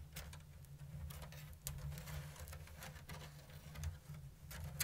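Long blue nails tap and scratch a round, hollow basket woven from thin bamboo strips in an open diamond weave. Short, dry, bright clicks and patters come at a slow-to-medium pace with light scratchy rustles between them, over a steady low hum.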